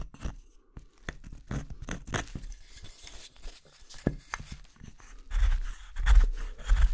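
A hook knife or gouge scrapes out the hollowed interior of a hand-held wooden spoon bowl of solid pale wood. Short, irregular scraping and shaving strokes repeat with dry, crunchy texture and low thumps underneath, growing louder and heavier toward the end.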